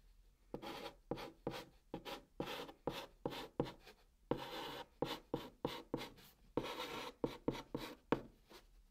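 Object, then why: Chalk on cardboard box surface. White chalk held in the fingers scratches English and Korean words onto the top of a brown cardboard box. A rapid series of short, dry scraping strokes, some quick and some drawn out, carries a mid-range rasp with bright edges. Each stroke dies away almost immediately between pauses.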